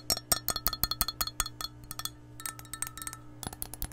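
Long nails tap the side and bottom of an empty, hollow, clear glass measuring cup held sideways. About 21 quick, bright, clicky taps with very short ring come in an uneven rhythm, softer in the middle and louder again near the end, over a faint steady low hum.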